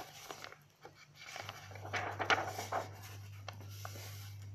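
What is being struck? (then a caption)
Paper notebook. Long nails and fingertips rub and scratch the pages of an open lined paper notebook and grip the page edges. The result is quiet, dry, papery rustling with several brief, crisp scratches and snaps rising above a steady low hum.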